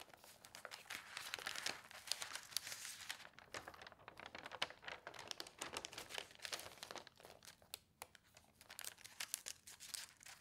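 A newsprint newspaper lies open on a table while hands with long painted nails flatten and rub the thin sheets and turn the pages. The result is a dense, bright rustling and crinkling that runs continuously, with many sharp, dry crackles and almost no low-end body.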